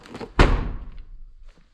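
A used Kia Sportage The Bold SUV's steel car door, with its steel frame intact, is swung and shut during a door check, giving a single heavy, low-pitched thunk that fades within about half a second. The door sounds solid rather than hollow, as a door whose inner steel frame was removed after an accident would, so it is judged normal with no problem.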